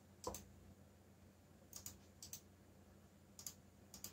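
Fingertips type quickly across a backlit plastic mechanical keyboard with black plastic keycaps. Nine short, bright clicks arrive mostly in quick pairs, spread across the clip. A faint steady low hum sits underneath.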